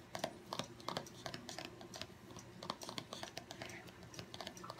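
Fingertips and short nails tap quickly across the top of a small, long, narrow, hollow white cardboard Apple Pencil box resting on a wooden table. The result is a quiet, fast, irregular patter of dry, clicky taps with bright, papery ticks and a soft hollow body, each tap dying away almost instantly.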